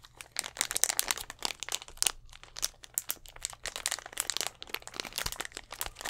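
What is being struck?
Thin plastic drink bottle.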